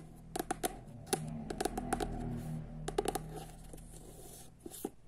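Long nails tap and scratch the cream matte cover of a solid paperback copy of "Jedanaest minuta" held upright. About 13 quick, dry clicks land in scattered clusters over a soft scratching rustle and a low background hum.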